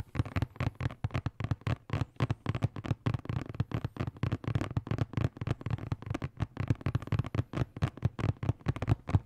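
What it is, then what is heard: Hollow cardboard box. A hollow blue and black printed cardboard box, held in both hands, is tapped and scratched with fingertips and nails on its faces and edges. Dozens of quick, dry, hollow thumps follow in a steady flurry, each dying away instantly, with a dull low body and little brightness.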